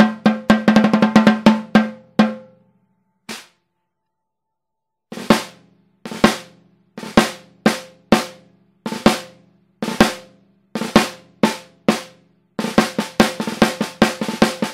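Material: Maple.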